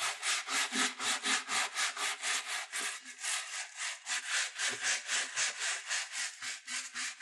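A wooden-backed bristle brush is rubbed along the side and heel of a black leather dress shoe, held in the hand, hollow and empty. Quick, steady back-and-forth strokes, nearly four per second, make a bright, hissing scratch with a faint hollow thump underneath.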